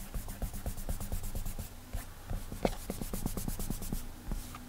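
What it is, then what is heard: Fingertip rubbing on a glass tablet screen. Clammy fingertips rub and drag across the glass touchscreen of an iPad while drawing. The quiet, rhythmic strokes make a squeaky, sticky friction sound, mostly low and soft, with one sharper squeak partway through.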